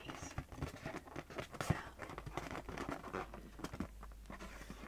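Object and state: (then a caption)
Latex balloon. A small, inflated pink latex balloon, hollow and air-filled, is held in one hand while fingertips and nails tap and scratch its taut rubber surface. The result is a quiet, rapid, uneven series of dull, hollow, low-pitched taps mixed with soft scratchy rubbing, each tap dying away almost instantly.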